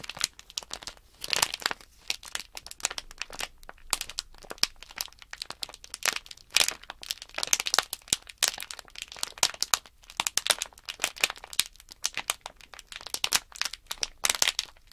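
Fingertips crinkle and flex the plastic film of a small sealed Nanoblock package bag holding blocks. The result is a steady stream of bright, dry crackles and crunchy rustles with almost no low end, each crackle snapping off instantly with short pauses between bursts.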